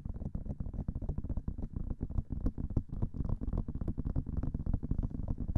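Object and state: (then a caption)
Silicone microphone ear. Long nails tap rapidly on both silicone ears of a binaural microphone, making a dense run of soft, muffled thumps. The sound is deep and low, with almost no high end and no ring after each tap.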